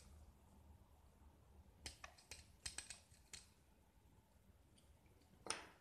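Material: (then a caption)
Gypsum. A small solid white gypsum block with a green painted coating, held in one hand, is scraped and carved with a metal utility-knife blade that shaves off flakes. Short, bright scraping strokes come in a loose cluster in the middle of the clip and are followed by one sharper, louder scrape at the end, all over a quiet background.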